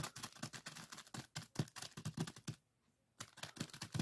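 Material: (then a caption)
Plastic, sand. Fingertips rapidly tap and scratch a small clear plastic zip-lock bag full of purple sand granules resting on a wooden table. The result is a fast run of short, dry crinkly taps with a soft low thump and a bright grainy rustle. A brief near-silent pause comes before the tapping resumes.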